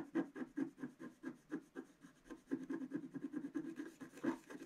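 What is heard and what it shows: A wooden stylus scratches the black wax coating off a flat, thin scratch-art paper page in a book, held down by one hand, revealing the colours underneath. The result is a quick, uneven series of short, dry, rasping strokes with a low-mid scraping tone and little ring.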